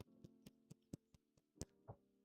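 A series of light, dry taps on the hard plastic parts of a small blind-box plush creature, each click short and sharp with almost no ring. A faint steady tonal hum sits underneath. The taps show the parts are hard plastic, unwelcome on a cuddly toy because they can poke you in bed.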